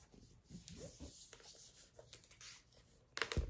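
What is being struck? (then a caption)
Hardcover paper book with glossy jacket. A large hardcover cookbook, "Life of Fire," with a glossy paper dust jacket and a thick stack of pages, is held and turned in the hands, then laid flat on a dark fuzzy surface. Quiet rubbing and soft papery handling sounds build up. It ends with brighter, sharper scratches and taps as long acrylic nails work across the cover.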